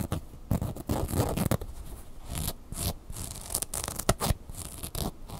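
Long fingernails scratch the fabric body and felt eyebrow of a red plush bird toy. The result is soft, dry scratching and rubbing in short, uneven bursts, with a dull, low-heavy texture and occasional brighter rasps.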